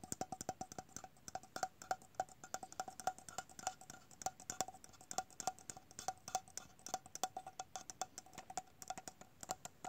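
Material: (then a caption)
Metal. A small, hollow, round red printed metal tin with a googly-eye design and a lid is held in the hands and tapped rapidly with the fingertips and nails. The result is dozens of quick, irregular, dry taps, each with a brief metallic ping around 750 Hz that dies away almost at once.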